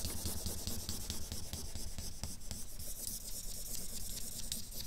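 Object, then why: Felt-tip marker on a paper sheet. A felt-nib marker rubs rapid scrubbing shading strokes across a flat sheet of drawing paper while the other hand holds a capped marker still. The result is a steady, raspy scratching with quick repeated swipes, a low rumbling body and a bright hiss on top.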